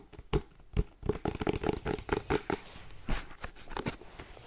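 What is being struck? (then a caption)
Cardboard box. Painted nails tap quickly on the face and top of a white printed cardboard charger box held in both hands. The taps are dull, hollow and short, with little ring. Some land harder as sharp knocks between softer light scratchy touches.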